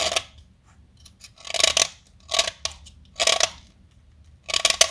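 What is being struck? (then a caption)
Chalk stick cut with a metal blade. A small, solid beige-white blackboard chalk stick is held by hand and carved with a metal utility-knife blade. Several short, bright, dry scraping and cutting strokes come in bursts with quiet gaps between them. Each stroke stops almost instantly, with no ring.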